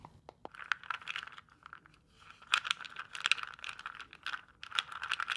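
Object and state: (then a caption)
Plastic box with gel beads. A small, hollow, clear neon-green plastic box, partly filled with water and gel beads, is held in both hands, tapped with long nails and shaken. A few sharp, isolated clicks at the start build into dense, bright rattling and crackling taps, with a brief quiet lull around the two-second mark. The rattling then returns with louder, crisp bursts.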